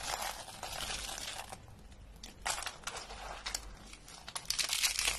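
Rolled, dry pink soap coils are squeezed and crushed in the hands into brittle flakes, with a few green flakes lying nearby. Dense, bright crackling and crunching comes in bursts, dips quieter in the middle, then swells into louder, sharper crunches at the end.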